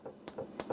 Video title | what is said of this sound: Easy Cast Iron Skillet Rosemary and Sea Salt Focaccia Bread - Twisted Mikes | you can kind of thump it it sounds Hollow it's done